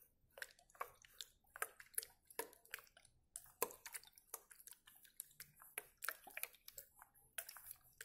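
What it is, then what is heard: Plastic bottle tapped and scratched. Fingers tap and scratch on a hollow white plastic bottle with a blue screw cap, held close, working near the cap and along the body. A rapid, irregular stream of sharp, dry clicks and crinkly scratches is heard, each dying away almost instantly, with bright upper tones and almost no low end.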